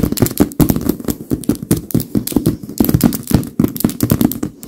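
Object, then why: Filled leather pillow. Both hands rapidly tap the tips of very long pink nails on a large, filled white leather pillow. The result is a dense, continuous patter of short, dry taps, each with a soft low thud from the filled leather and a brief bright click from the nails, dying away almost at once.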